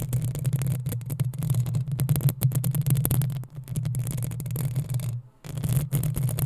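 Long acrylic nails of both hands scratch and tap the metal mesh grille over the hollow capsule head of a black desktop USB microphone on a stand. Rapid scratchy taps crackle over a steady, boomy low hum. The hum briefly cuts out near the end before the scratching resumes.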